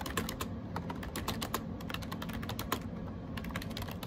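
Fingertips type rapidly on a gray AJAZZ 308i wireless Bluetooth keyboard with round plastic keycaps, producing a dense, continuous stream of short, crisp plastic clicks. The clicks decay almost instantly over a steady low background hum.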